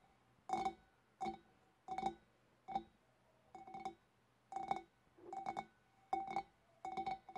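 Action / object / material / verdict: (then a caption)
tap / glass fish bowl / glass / none. Long dark nails of both hands tap near the rim of a large, empty, clear glass fish bowl. Short clusters of quick, hollow clinks come in an uneven rhythm, each with a bright glassy ping centered near 785 Hz that dies away almost at once.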